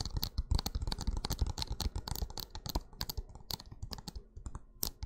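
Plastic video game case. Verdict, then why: Empty. Fingertips tap rapidly and irregularly on an empty plastic video game case, with the disc taken out beforehand so it won't vibrate inside and spoil the sound. Each tap is a short, dry click with a low thud and a bright edge, dying away almost instantly. The tapping slowly softens toward the end.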